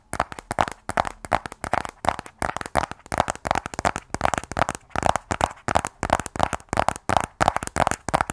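Fingernails tap on the edges and face of a small, closed, black rigid cardboard iPhone 12 Pro box. The taps come in quick, uneven bursts of dry, hollow clicks centered in the midrange, each dying away almost instantly with no ring.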